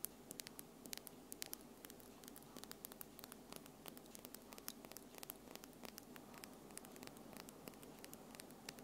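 Long French-tip acrylic nails with small solid tips tap together, fingertips and nails of both hands clicking nail-on-nail held in front of the recorder. Many quick, sharp, bright clicks sound at an uneven pace over a steady low hiss and hum.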